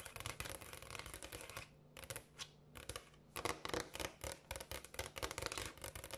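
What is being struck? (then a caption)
Polished granite countertop. Long acrylic nails on both hands tap and scratch quickly across a large, solid, polished granite countertop. The sound is a dense run of sharp, bright clicks and raspy scrapes in an irregular rhythm. It thins to a few scattered taps partway through, then builds back into busy, louder tapping.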